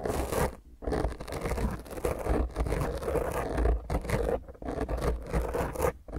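Both hands scratch and rub a soft, porous black foam windscreen over a round microphone head using long grey painted fingernails. It produces dense, rough scratching and crackling with a heavy low rumble, broken by a few brief near-silent pauses.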